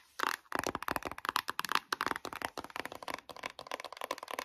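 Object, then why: Cardboard eyeshadow palette tapped and scratched with nails. Long nails rapidly tap and scratch the glossy printed cover of a closed, flat, book-like white cardboard eyeshadow palette with gold speckles. The result is a dense run of short, dry clicks with a bright, papery edge that barely ring after each strike.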